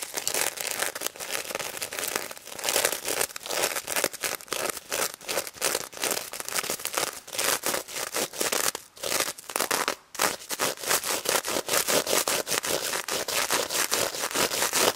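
Long red nails scratch the sequin face and mesh snout of a pink sequin plush pig toy, up close. A dense stream of dry, bright crinkling scrapes and clicks runs steadily without a clear rhythm, with only brief pauses.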